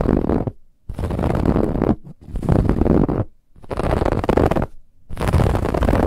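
Fingernails scratch and rake hard over the woven lattice band of a soft white cushion, producing five dense, rough bursts of scratching separated by brief silences. The rasping texture is full and heavy in the low end, with faint brighter hiss on top.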